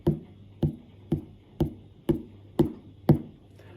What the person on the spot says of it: зверніть увагу як звучить стиглий кавун звук не глухий Він досить дзвінкий